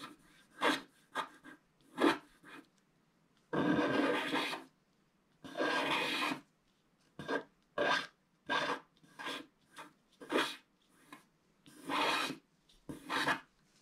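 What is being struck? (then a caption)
Scratch-art paper sheet scraped with a wooden stick. A wooden stick scrapes the coating off a flat black-coated scratch-art sheet along the right and lower edge of a stocking. About fourteen separate dry, raspy scratches are heard, mostly short strokes with two longer drawn-out scrapes, each broadband and bright. There are quiet pauses between the strokes.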